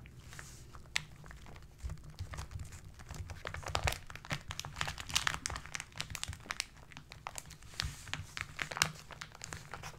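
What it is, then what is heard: Kraft paper wrapped parcel. Two hands rub and press the brown kraft paper wrapping of a parcel, now visibly wrinkled, crinkling it. A dense stream of dry, bright crackles and crunches plays over a low rumble, with short sharp pops throughout and no pause between them.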